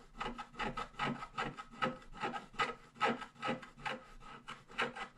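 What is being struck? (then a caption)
Black-coated scratch-art paper scratched with a wooden stylus. A wooden stylus scratches the black coating off near the bottom of a flat scratch-art page, revealing purple foil while the other hand holds the page flat. It makes a steady run of short, dry rasping strokes, a little more than two per second, each with a bright papery scrape and almost no ring.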